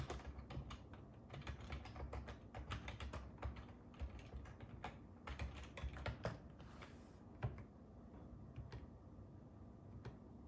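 Fingertips type on the hollow plastic keys of a black and silver ergonomic plastic computer keyboard, making quick, dry clicks and soft low thumps in an uneven, rapid stream. The taps thin out to a few scattered presses toward the end as the hand comes to rest on the keys.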